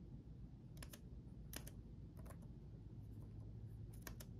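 Both hands type rapid fingertip taps on the backlit chiclet keyboard of a black laptop, with plastic keycaps on a solid chassis. Short, bright plastic key clicks come in quick clusters over a quiet, steady low rumble. Each tap dies away almost instantly.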